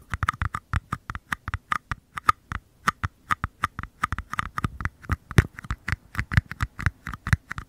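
Fingertips tap and scratch the thin walls of two small, empty white paper cups, one held in each hand with the open end toward the mic. A quick, uneven run of dry taps follows, each with a soft low thump and a short hollow ring around 1.2 kHz that dies away almost instantly, with faint scratchy rustle between them.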